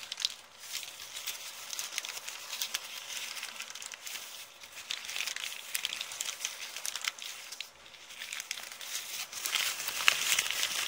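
An empty, crumpled brown kraft paper bag is crushed and crinkled with the fingers and long painted nails. Dense, bright, dry crackling and rustling comes in uneven swells with almost no low end. Each tiny crackle dies away instantly.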